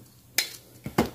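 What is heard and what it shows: Cutlery taps and pokes a fried Thai omelette, giving short, bright, crackly crunches against near silence. The omelette is crispy outside and soft inside.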